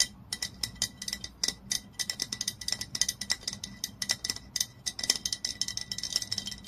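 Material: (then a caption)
Glass. Long nails rapidly tap the body of a glass olive oil bottle lying on its side. The result is a quick, uneven stream of short, bright clicks with almost no ring and a faint steady tone underneath.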